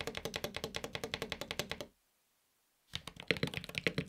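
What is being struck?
Mechanical keyboard with aluminium case and plastic keycaps.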